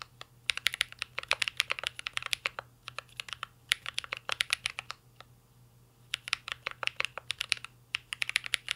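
A mint-green Cyberboard R3 mechanical keyboard with a metal case and plastic keycaps is typed on continuously with the fingertips. It gives rapid, bright, clicky taps in bursts, with a short pause around the middle, over a faint low steady hum.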